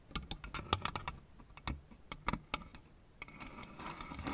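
Long red nails tap and click along the tops and fronts of a lit-up plastic Pac-Man and ghosts LED lamp, a row of hollow plastic figure panels on a base. A quick, uneven series of sharp, dry clicks carries a faint hollow knock underneath and dies away almost instantly. Toward the end the taps give way to a softer, brighter scratchy rustle.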